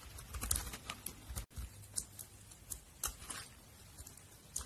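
A metal utility blade scrapes and cuts flakes from the face of a solid, translucent pink glycerin soap bar held in the hand. Quiet, crisp scraping is punctuated by sharp, bright ticks over a low rumble, with a brief silence midway. The result is a soft, crackly run of shaving sounds.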